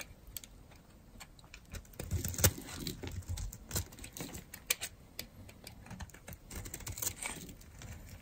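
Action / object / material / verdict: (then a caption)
scrape / bar of soap carved with a metal blade / soap / none. A metal blade carves curls off the edge of a solid, dry, orange-and-white striped bar of soap held in the hand. The cuts come as an irregular run of short, crisp scrapes and clicks with bright, sharp edges and a soft low thud beneath them, each dying away almost at once.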